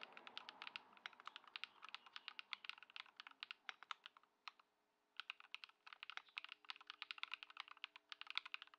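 Continuous two-handed fingertip typing on a modded compact Ducky One 2 SF mechanical keyboard (Lumia Matcha, swapped switches, Poron foam mod) with white plastic keycaps, resting on a wooden desk. It produces a rapid stream of short, crisp, bright keystrokes with a brief pause midway.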